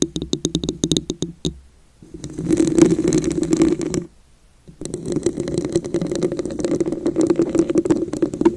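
Long nail tips tap and scratch the top and sides of a hollow red glass vase with wavy ridges. A quick run of sharp taps gives way, after a short silence, to two long stretches of dense scratching and rasping. Both are carried by a steady hollow ring around 310 Hz with bright glassy edges.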